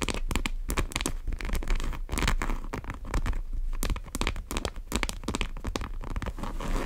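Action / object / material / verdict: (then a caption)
scrape / coated canvas tote bag / coated canvas / none. Long nails tap and scratch along the top edge and zipper area of a large brown monogram coated-canvas tote bag with tan leather straps. Dense, crinkly scratches and quick clicking taps come in rapid bursts with a steady low rumble underneath. Each tap dies away almost at once.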